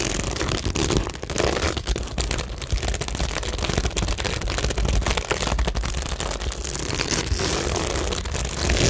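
Long nails scratch and tap the stick-on plastic gems and pearls on a flat cork tingle board. The result is a steady, dense stream of crackly scratches and small clicks, with bright, hissy detail over a low rumble.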